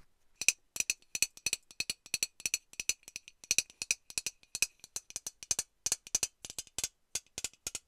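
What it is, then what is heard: Metal aerosol deodorant can. A hollow metal Lynx aerosol deodorant can is shaken and tapped with long nails, with the mixing ball rattling inside. Dense bursts of short, bright metallic clicks and rattles come in quick clusters, with a tinny tone near 2.5 kHz and almost no low end. Each tap dies away almost instantly.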